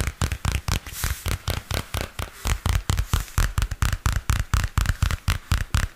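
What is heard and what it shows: A small purple spiral-bound paper notebook with a glossy card cover is held upright while fingernails scratch and tap on the cover. A quick, somewhat irregular run of hollow, low thumps sounds about twice a second, each edged with a bright scratchy click and dying away almost at once.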